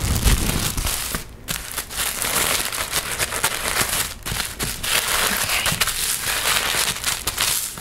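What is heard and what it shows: Fingers crinkle, scratch and fold sheets of thin pink tissue paper as it is handled. A dense, bright crackling rustle runs almost continuously for about eight seconds, with brief quieter dips near 1.3 and 4.2 seconds.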